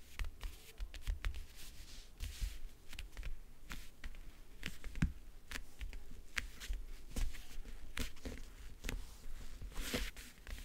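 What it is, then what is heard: Hollow backgammon case. Long nails tap on the lid and along the lower edge of a closed, hollow backgammon case with a map-print covering. Quick, dry ticks with bright edges sit over a soft, hollow low thump. Each tap dies away almost instantly, with quiet stretches in between.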